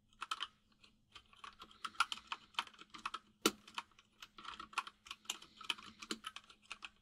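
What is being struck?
Mechanical keyboard with plastic keycaps.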